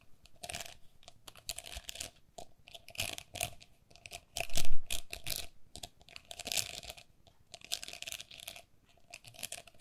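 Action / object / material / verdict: tap / perforated plastic pen cup / plastic / none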